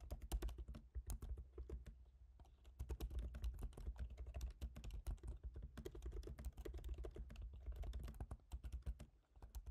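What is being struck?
Laptop keyboard, plastic keys in aluminum body.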